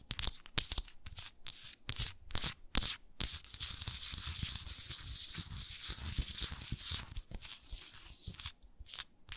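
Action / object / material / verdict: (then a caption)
scrape / small frosted glass jar with wooden lid / glass / none. Long nails tap and scratch the glass body of a small hexagonal frosted glass moisturizer jar with a wooden lid. Sharp, quick taps come first, then give way to a steadier, bright, hissing scratch that rises and falls in a loose rhythm.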